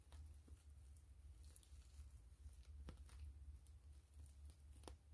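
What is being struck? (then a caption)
PVC plastic mesh zipper pouch. Long fingernails tap and scratch the surface of a gray PVC grid-mesh zipper pouch held upright, making quiet, soft clicks and light scraping. The taps are short and dry over a steady low hum.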